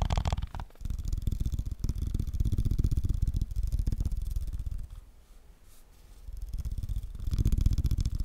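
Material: Plastic.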